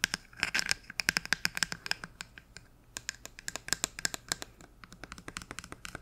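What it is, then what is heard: Plastic bottle tapped and scratched. Long nails tap and scratch quickly over a medium, hollow white plastic bottle with a printed label and cap. The result is a rapid run of short, bright, dry clicks with a light hollow ring around 1.6 kHz and higher, plus soft scratchy rasping between taps, with almost no low end.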